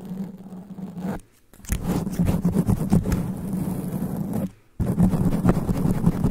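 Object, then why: Foam microphone windscreen. Black extra-long nails of both hands, cupped around a black foam sponge windscreen on a standing microphone, scratch fast and hard at the foam. The result is a dense, low, rumbling scratch with a steady muffled hum and crackly rasps. Two brief silent pauses break it up before the scratching resumes.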